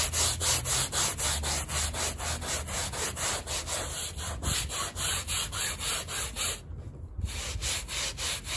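A stiff-bristle handheld brush vigorously scrubs back and forth across a small, wet, muddy fringed woven rug covered in thin foam. About twenty quick, steady, bright scratchy rubbing strokes are heard, with a brief softer dip near the end before the scrubbing resumes.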